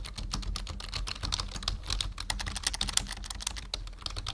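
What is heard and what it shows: Fingertips of both hands type steadily on a full-size black plastic membrane computer keyboard resting on a wooden desk. It makes a dense run of quick, dry, bright clicks with very short decay over a soft low thump from the desk.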